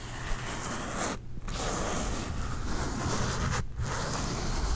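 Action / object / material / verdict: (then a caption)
scrape / glitter-coated foam sheet / glitter foam / none. Nails and fingertips slowly rub and scratch across the surface of a flat, thin, solid pink glitter foam heart held close to the microphone. The result is a steady, broadband scratchy rasp with a low rumble underneath, broken by two brief quieter gaps.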